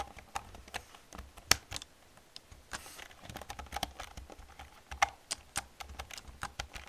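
An old black plastic computer keyboard with hollow plastic keys is typed on with long painted nails and fingertips. About fifteen sharp, bright clicks and clacks come in an uneven patter, each dying away instantly, with one louder strike near the start and several more toward the end. Quiet gaps and soft faint taps fill the spaces between them.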